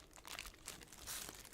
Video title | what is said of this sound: ASMR Objects that have meaning to me (mostly soft spoken & tapping) | This one is full of bottle caps